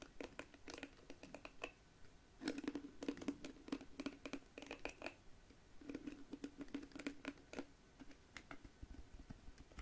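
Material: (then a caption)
Plastic. A small pink plastic detangling hairbrush with flexible bristles has its bristles scratched and strummed by long nails, then its hollow-looking smooth plastic back is tapped. The result is a quiet string of short, dry ticks and clicks with a soft ringing tone around 285 Hz, in bursts separated by brief pauses.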